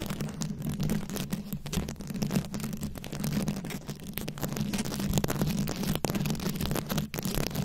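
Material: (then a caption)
Rhinestone. Long nails scratch over the beads of a rhinestone-studded microphone head. The result is a dense, steady stream of crackling, rasping scratches over a heavy low rumble and a constant low hum, with brief clicks breaking through throughout.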